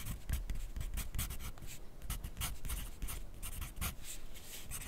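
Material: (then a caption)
Paper. A wooden graphite pencil is drawn across a fresh white paper sheet clipped to a flat clipboard on a desk while writing. Quick scratchy strokes come in bright, papery bursts over a low, soft rumble, with short pauses between the marks.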